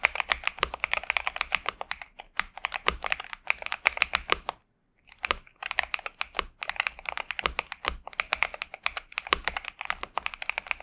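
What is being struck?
Mechanical keyboard with plastic keycaps.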